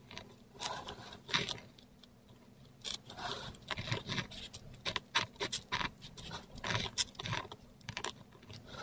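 A metal dip pen nib scratches curved script letters in ink across a flat, textured Korean paper sheet. Short, dry, bright scratchy strokes come in quick bursts with brief pauses between letters, over a faint steady low hum.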